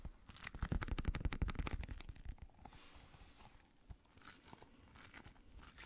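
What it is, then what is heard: Rubber gel-bead stress ball. A small translucent blue squishy stress ball, a rubber skin filled with gel beads, is held in the hand and tapped with fingertips and nails. A rapid burst of dull, low thumps and crackly clicks runs for about two seconds, then thins into quieter, scattered soft taps.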